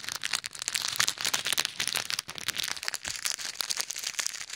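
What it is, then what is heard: Plastic bag of plastic beads. Fingertips and short nails pinch, rub and knead a small clear plastic bag full of pink and white plastic pearl beads resting over ear microphones. A dense, bright stream of crinkling plastic and rattling, clicking beads continues throughout with almost no low end, and quick crackly bursts rise and fall without pause.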